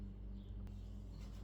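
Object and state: Nothing is struck.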